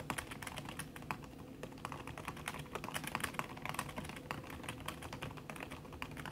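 Fast typing with fingertips and long red nails on a backlit aluminium laptop keyboard with plastic keys under a red silicone skin. A dense, steady stream of soft, short clicks and taps plays over a low, muffled thud layer, with brief bright clicks poking out and almost no ring after each keystroke.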